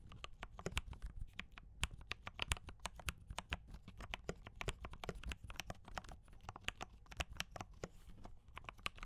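A compact D84 mechanical keyboard with brown switches and cream and red plastic keycaps is typed on continuously with the fingertips of both hands. It gives a rapid, steady stream of short, crisp, bright clacks that die away almost instantly, over a soft low rumble.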